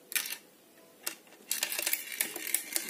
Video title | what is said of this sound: Rádio Px quebrado | tem alguma coisa solta dentro do rádio